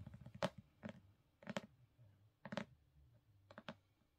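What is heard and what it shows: Long pink nails tap and scratch the cover and top edge of a black, gold-foiled hardcover book resting on a carpet. Short, dry, bright clicks come in loose pairs and stop at once, with no ring. Soft, low scratching fills the quiet gaps between them.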